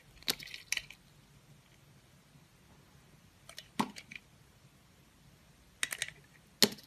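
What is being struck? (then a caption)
Bar of soap cut with a metal knife blade. A metal utility knife blade with a green handle slices thin peels off the surface of a solid, oval, palm-sized blue Absolut-branded bar of soap. Crisp, bright scraping cuts come in three short bursts against a quiet background, each with a sharp onset and almost no ring.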